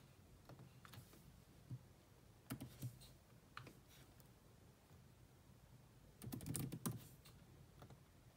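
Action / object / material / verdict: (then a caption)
tap / plastic laptop keyboard / plastic / none. Long manicured nails and fingertips type on a grey laptop keyboard with black plastic keys in a metal-look chassis. Soft, uneven taps and clicks come in scattered bursts, with denser clusters near the start, middle and end. Each tap has a low, dull body and a brief bright click that dies away quickly.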